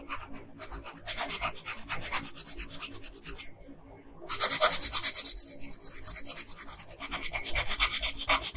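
A pink colored pencil rubs back and forth on a flat paper coloring page along the hem of a dress, making quick, bright, scratchy strokes. Soft strokes give way to louder, steady rubbing after about a second, which pauses briefly near the middle and then resumes at full strength to the end.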